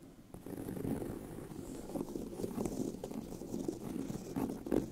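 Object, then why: Pebbled leather handbag. Fingernails scratch the pebbled surface of a tan leather handbag with a hollow body. The result is a steady, low, grainy rasp centred in the low-mids, with faint bright edges and brief louder strokes that peak near the end.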